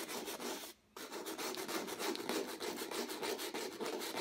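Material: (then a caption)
Acrylic canvas. A folded piece of sandpaper held in the fingertips makes continuous sanding strokes over a stretched canvas with a textured acrylic-painted surface. The result is a steady, gritty rasping hiss that swells and fades with each back-and-forth stroke, bright with a mid-range body. There is a brief silent gap near the start.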